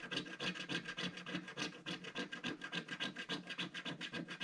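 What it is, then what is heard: Scratch-art coated card being scratched. A wooden stick scratches the coating of a flat, solid, black-coated scratch-art card page in rapid short strokes. The result is a steady run of dry, raspy, bright scratches, about three to four per second, each stopping quickly with no ring.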